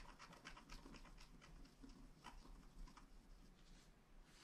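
A wooden stylus scratches leaf details into a flat black scratch art card of wax-coated paper lying on a table. Short, dry, bright scratching strokes come in quick bursts over a quiet, steady low rumble, with no ring after each stroke.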